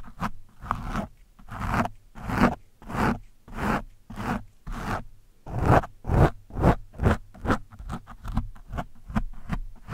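The thin steel shaft of a screwdriver scratches and pokes a soft, porous orange foam windscreen on a microphone. Rough, scraping, zipper-like strokes arrive one after another, each with a heavy low rumble and a brief rasp that fades quickly. The strokes grow shorter and quicker in the second half.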